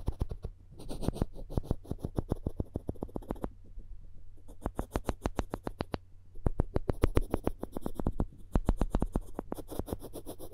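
The floss string of a plastic floss pick is scraped and rubbed across the edge of a solid wooden spoon handle held close to the microphones. The result is a rapid run of short, dry clicking and scratching strokes over a heavy low-end rumble, with brief pauses between bursts.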